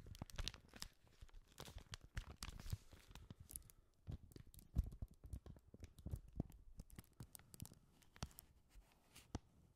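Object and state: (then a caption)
Paper sheet crinkling. A single white paper sheet is held in both gloved hands in front of the microphone and bent, rubbed and crinkled. Quiet, dense crackling and tearing-like crinkles come in irregular bursts, with sharp short snaps over a soft rustle throughout.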